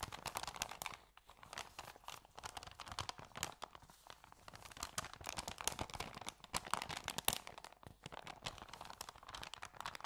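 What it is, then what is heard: Paper sandwich bag being crinkled. Fingers pinch and crinkle the folded edge of an empty white paper sandwich bag with yellow print. A dense, continuous run of sharp, bright crackles and crisp rustles fills the clip, with only a brief lull. The sound is mostly high and airy, with little low end.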